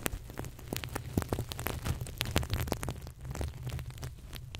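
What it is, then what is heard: Sequin fabric pillow. Fingers brush and rub back and forth across the flip sequins of a soft, stuffed, green crocodile-shaped pillow held close to a FIFINE K690 microphone. The result is a dense stream of quick, bright clicks and crackles over a steady, rumbling low-end rustle, sounding like rain pattering on a surface.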